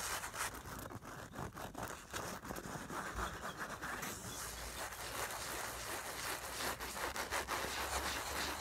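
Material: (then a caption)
Nylon fabric. Long nails scratch and rub along the fabric and seam of a filled, soft black nylon makeup bag. A dry, scratchy rustle runs throughout with uneven bursts of scraping, turning steadier, denser and brighter about halfway through.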